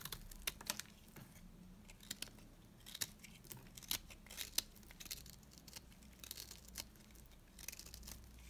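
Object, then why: Bar of soap cut with a metal blade. A metal cutter blade scrapes and cuts curls off a solid, dry beige bar of soap held in the hand, the piece getting smaller. Short, crisp, bright scraping and crackling bursts sound irregularly over a low, steady hum, each dying out almost at once.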